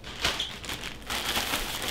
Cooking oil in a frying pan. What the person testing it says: if you hear that popping, that means it's ready to go